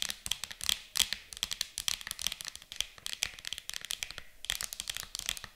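Long acrylic nails tap and scratch a flat, rectangular, transparent hard plastic storage case that lies hollow and mostly empty on a table. The result is a quick, irregular stream of sharp, bright clicks mixed with scratchy rasps, high-pitched and almost without low end, each tap dying out instantly.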